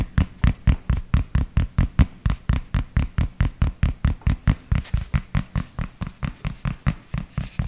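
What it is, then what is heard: Fabric baseball cap. A grey cloth baseball cap is held against the mic while fingertips scratch and tap the fabric of its crown. About 34 soft, muffled thumps land in a steady rhythm, each dying away almost instantly with a faint bright scratchy edge. The sound is deep and boomy, with nearly all of its energy in the low end.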